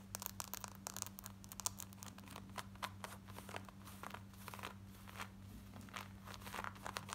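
Long nails scratch worn black denim jeans at the waistband and along the side and back. Quick, quiet, bright rasping strokes come in a fast continuous run over a steady low hum.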